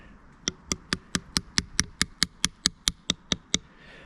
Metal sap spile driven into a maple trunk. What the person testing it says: I'm just tapping it until I hear that thud. Then I know it's nice and tight